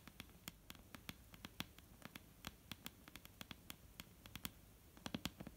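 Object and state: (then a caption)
Wooden table top. Long painted nails on both hands tap a solid, dark brown wooden table top, producing 31 quick, sharp clicks in an uneven patter. Each tap is crisp and bright with almost no ring, over a faint, steady background hiss.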